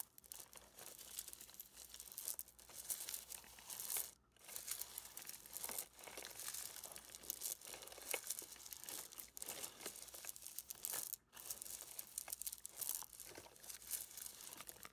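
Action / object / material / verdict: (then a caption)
scrape / plastic mesh bag of small stones / stone, plastic / none. Fingertips and a palm press, rub and squeeze a plastic mesh net bag full of small smooth river stones, so the pebbles shift and scrape against each other and the netting. The result is a near-continuous, bright, crunchy crinkling with dense clicks and rasps and almost no low end, broken by brief pauses around 4 and 11 seconds.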